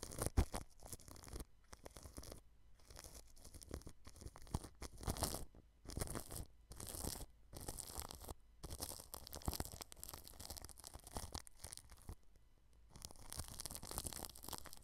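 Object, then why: Plastic cling film over a microphone. A paintbrush brushes the clear cling film wrapped over a white microphone at its bottom rim. It makes close, crinkly, scratchy strokes with a bright hiss and a low rumble, in bursts broken by short silent pauses.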